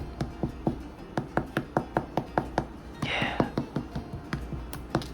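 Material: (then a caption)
Bread crust. A freshly baked loaf of Irish soda bread, cooling on top of the oven, is tapped about nineteen times in a steady rhythm. Each tap is a short, dull, low thud that dies away almost at once, with a brief hiss of noise partway through. The taps sound hollow, the usual sign that the loaf is baked through.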